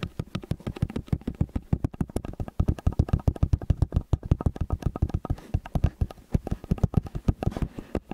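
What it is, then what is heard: Metal stereo microphone tapped. Fingertips tap quickly and repeatedly on the two angled capsules of a metal stereo microphone. The result is a fast, uneven stream of short, dull, low thumps with almost no ring or high content.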